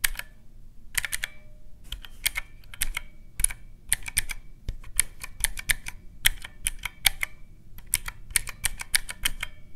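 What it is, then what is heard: Plastic mechanical-key calculator. Fingertips rapidly press the round black mechanical keycaps on a teal plastic calculator, producing quick, bright, clicky taps in uneven bursts. Each click is sharp and dies almost instantly, with a faint low rumble underneath.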